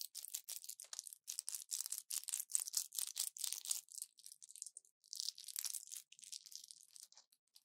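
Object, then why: Plastic blister pack with foil backing. An orange plastic pill blister pack with foil backing and pills inside is held in both hands, bent and scratched with long nails. Dozens of quick, quiet, bright crinkling and scratching strokes come in rapid bursts, all high with no low end, with a brief lull near the middle before the crackling resumes.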